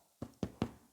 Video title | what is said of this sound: Making wholemeal bread, Rode wireless go 11 testing out at bakery vlog #9 | give it a little tap it's hollow it's ready